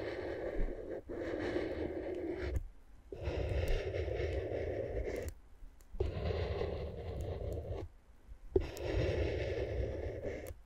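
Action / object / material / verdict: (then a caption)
scrape / plastic air-column packaging scraped with a wooden stick / plastic / none. A wooden stick scratches and taps the tubes on the left side of clear, inflated, hollow plastic air-column cushion wrap. The result is four long bursts of dense, rustling scratch noise with a low rumble, separated by short quiet gaps. A few sharp, brief taps stand out.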